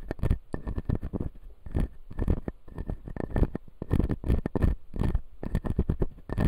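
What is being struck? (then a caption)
Acrylic dental model with resin teeth. Fingertips and nails tap and scratch the upper front resin teeth of a clear acrylic dental model. Quick, dry taps with a dull low body and almost no ring alternate with bright scratchy bursts, and a faint steady tone sits near 2 kHz throughout.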